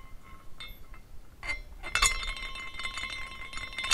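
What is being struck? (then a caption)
Small glass carousel figurine with hanging glass horses. A small decorative glass carousel with hanging glass horses and an iridescent base is spun by hand, so the horses swing and clink against the glass posts and each other. Light, chime-like glass tinkles ring out around 2 kHz with bright overtones, coming in irregular bursts that overlap into a shimmering wash. The clinks get louder toward the middle and the end.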